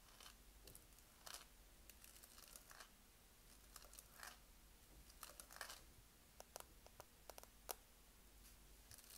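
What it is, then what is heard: Plastic-coated dumbbell plates. Long nails tap and scratch the black textured plastic-shell plates of an adjustable dumbbell with a red grip, its plates likely filled, resting on the floor. The quiet clip holds short, dry clicks with almost no ring and bright, scratchy rasps, scattered irregularly over a steady low hum.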